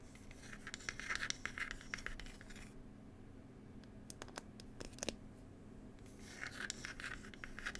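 Long pointed nail tips scratch the wooden lid of a small hollow wooden "Cherry Tea" box, producing bursts of bright, dry scratching. The scratching pauses midway, leaving a few sharp isolated clicks over a low steady hum, then resumes toward the end.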